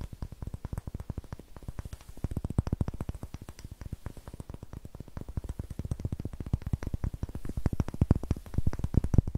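Long nails tap rapidly on the faces of a solid light pine wood block held near the mic and scratch its rough greenish end. They make dozens of soft, dull, low knocks that die away almost instantly, with a faint scratchy hiss between them. The tapping grows gradually louder toward the end.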